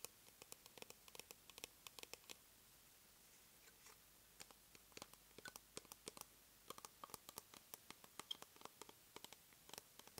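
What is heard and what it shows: Long nails scratch and tap the base and sides of a small white plastic cosmetic jar, making about fifty quick, dry clicks and scrapes. The sound is quiet and bright, with no ring after each touch. There is a short lull in the middle before the tapping picks up again.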